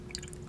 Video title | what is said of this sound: Loreal MAGIC NUDE LIQUID POWDER Review/First Impressions | it's just very liquidy very very liquidy